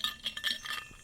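An insulated cycling water bottle is shaken after a 2.5-hour ride in 87°F heat that felt like 97°F. About four bright, clinking rattles of ice knock inside it. The sound shows the bottle is still holding ice.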